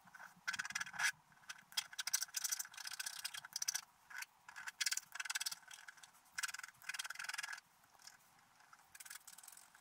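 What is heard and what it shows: A wooden stylus held in the fingers scratches the black wax coating off a flat scratch art sheet from a scratch book, revealing the colours beneath, while the other hand holds the sheet still on a table. Quick bursts of dry, raspy, bright scratching come in short strokes separated by brief pauses, with almost no low end and no ringing after each stroke.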